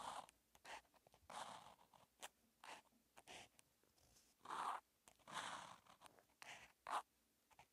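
A felt-tip marker held by hand writes Chinese characters on a flat paper grid notebook page, making steady scratching and rubbing strokes. Quiet, bright, papery bursts of friction start and stop with each stroke, with almost no low end and short pauses of near silence between strokes.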